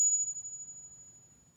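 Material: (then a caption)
Base metal. A counterfeit Morgan silver dollar is pinged, giving a thin, high-pitched ring. The tone drops quickly, then fades out over about a second and a half. The coin fails the ping test and is judged not a real Morgan.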